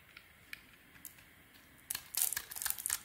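A metal utility-knife blade scrapes and carves shavings off a palm-sized, solid cream-coloured bar of soap stamped "SOAP BAR", held in the hand. A few faint, crisp ticks come first, then the sound turns into dense, bright, crackly scraping bursts as the blade bites into the soap.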